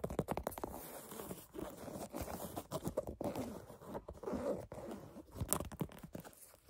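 Fingernails tap and scratch a black canvas sneaker upper and its metal eyelets, making dry, crunchy scrapes and quick soft taps. Bursts of scratching alternate with brief pauses. The sound sits mostly in the low and middle range, with very little high brightness.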